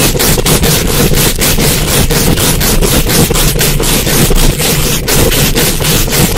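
Super long acrylic nails quickly scratch and tap a hollow, rounded metal mesh microphone grille from both sides. The result is a loud, dense, continuous rasping with a heavy low rumble and rapid, bright scratchy bursts that blur together with no pauses.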